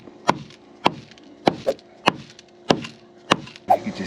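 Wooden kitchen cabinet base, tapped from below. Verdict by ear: Debris-laden.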